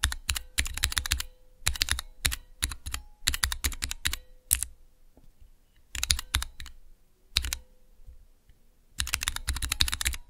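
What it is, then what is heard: Plastic mechanical keyboard switch tester. Fingertips press the clear plastic keycaps on a small, hollow plastic switch tester fitted with Cherry MX mechanical keyboard switches. Bursts of rapid, sharp clacks come in quick runs separated by short pauses. Each click is bright and crisp, with a short low thump beneath it, and dies away almost instantly.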